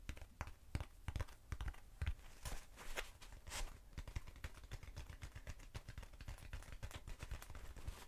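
Long nails tap and scratch the surface of a short, hollow black foam cylinder. The result is a quiet, steady run of soft, dull, low-pitched thuds with almost no ring, mixed with brief, brighter scratchy swishes.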